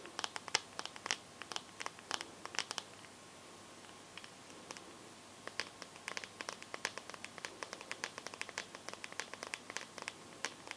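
Long nails tap and scratch the glass front and edges of a bare, solid teal smartphone, making dozens of sharp, bright clicks with almost no low end and no ring. The taps come in quick bursts, with a quieter stretch of soft scratching in the middle before the rapid tapping resumes.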